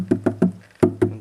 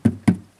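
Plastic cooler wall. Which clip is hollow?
The first.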